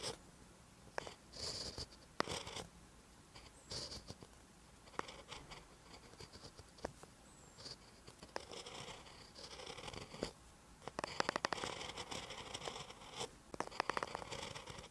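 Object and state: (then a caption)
Pen writing on a paper notebook page. A ballpoint pen tip writes on a lined paper notebook page, making quiet, dry scratching strokes with bright hiss. The strokes come in short bursts and clusters separated by brief near-silent pauses. Faint taps stand out between them, and the writing grows busier and louder toward the end.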